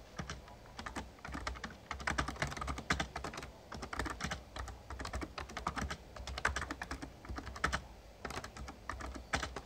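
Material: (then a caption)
Plastic. Rapid typing with the fingertips of both hands on an RGB-backlit plastic Razer Ornata Chroma membrane gaming keyboard with a hollow casing. The key taps come in quick, dense bursts of short, clicky strikes, with a low hollow thump beneath them and almost no ring after each press.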